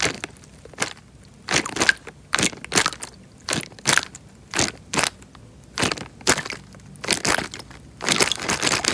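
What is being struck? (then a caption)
Thin plastic bag filled with water. Hands squeeze and crumple the film of a small, clear, thin plastic bag filled with water. The result is a series of bright, crisp crinkling and crunching bursts separated by short pauses, with very little low end.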